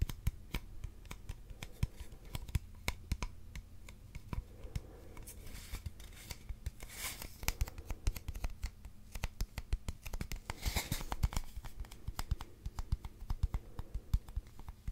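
Fingertips and nails tap and scratch along the surface of a long, hollow, empty brown cardboard tube held in the hands. Many quick, dry taps with almost no ring sit over a steady low hum, broken by longer, brighter scratching strokes that hiss across the highs.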